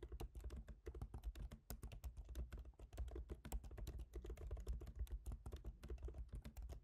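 Both hands type rapidly with their fingertips on a MacBook Pro keyboard, its black plastic keycaps set in a silver aluminum body. A fast, steady stream of soft, short clicks and taps runs throughout, quiet and heavy in low thud with a brief tick on each keystroke.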